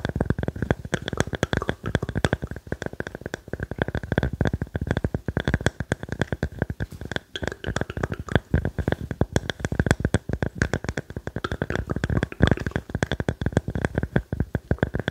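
A small, solid, round cross-cut slice of light-colored wood with visible growth rings is held in both hands and tapped and scratched with fingertips and nails. Rapid, closely spaced taps make dull, low knocks that die away almost instantly, mixed with soft scratching over roughly fifteen seconds.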